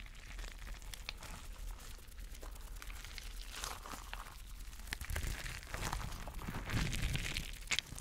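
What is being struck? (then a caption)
Rubber mesh stress ball filled with gel water beads. A spiky clear rubber mesh stress ball filled with colorful gel water beads is held in the hand and squeezed and rubbed by the fingers. Quiet, irregular crinkling and squishy crackles with sharp bright ticks sit over a steady low rumble, growing a little louder in the second half.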